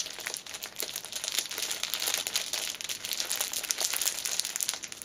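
A small black fabric pouch wrapped in clear cellophane is held in both hands while long nails squeeze and scratch the wrapper. The result is a dense, continuous crinkling made of many quick, sharp crackles that are bright and high, with almost no low end.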